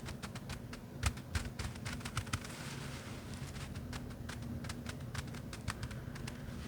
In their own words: This is just rice inside. That's an interesting sound.